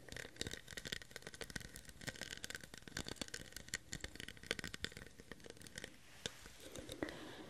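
Fingernails scratch and tap along the textured, ridged pattern of an empty, hollow clear plastic tumbler. The result is a dense run of quick, dry clicks and scratchy rasps with a bright, hissy edge. Each tap dies away almost instantly.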